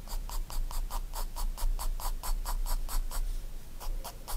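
A graphite pencil draws fine detail strokes on a spiral-bound paper sketchbook page, making a quick run of soft, bright scratching strokes with a steady low rumble underneath.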